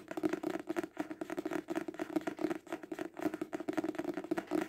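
A paperback book held horizontally is tapped fast on its cover with the fingertips and nails, producing a rapid, uneven stream of short, dry, papery knocks. The taps have a hollow mid-low tone around 320 Hz and die away almost instantly, coming in quick bursts with brief gaps.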